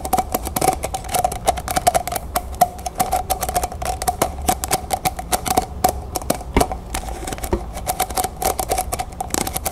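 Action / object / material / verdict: tap / stack of plastic cups / plastic / none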